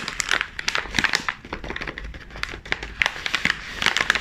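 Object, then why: Plastic foil chip bag. Black-gloved hands grip, flex and crinkle the back of a sealed, full chips bag made of glossy plastic/foil film. A dense, continuous run of sharp, bright crackles and crinkles fills the clip, with quick snaps that die away instantly and very little low end.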